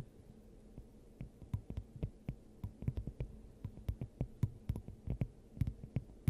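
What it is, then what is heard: Glass dome tapped with nails. A clear, hand-sized hollow glass dome fitted over the top of a microphone is tapped and scratched with long acrylic nails of both hands. A quick, irregular series of dull, muffled low thumps rises in pace and loudness, some with a brief bright click on top, over a steady low hum.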